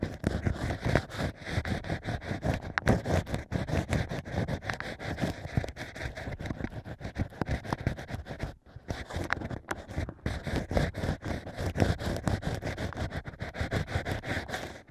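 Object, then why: Stack of drilled natural wine corks scraped with a bamboo pick. A bamboo ear pick scrapes inside the hole of a stack of drilled natural cork wine corks, making dense, rapid scratchy rasps with a heavy low rumble. The scraping runs almost continuously and pauses briefly past the halfway point before resuming.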